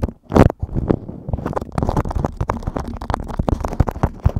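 Fingertips tap, scratch and crinkle a yellow beeswax-coated cotton food wrap laid over a microphone. The result is a dense run of close, muffled thumps and crackly rustles, heavy in the low end, opening with a loud burst near the start.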